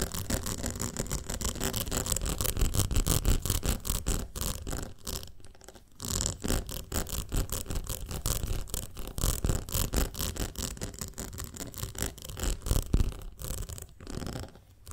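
Long nails rapidly tap and scratch the side of a ribbed glass jar full of honey, producing a dense run of short clicks and scrapes. The sound is mostly a low, muffled thump with a light bright edge. There is a brief lull around six seconds and a quieter stretch near the end.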